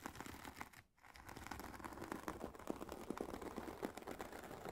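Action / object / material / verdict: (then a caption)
tap / semi-rigid headphone case covered in woven nylon fabric / nylon fabric / none. Long painted nails on both hands tap and scratch the woven nylon fabric of a hollow, oval, semi-rigid carry case for Sony WH-1000XM4 headphones, lying flat. The result is a quick, irregular run of soft, dry taps and scratchy rustles with a mid-low hollow body, broken by a brief near-silent pause around the one-second mark.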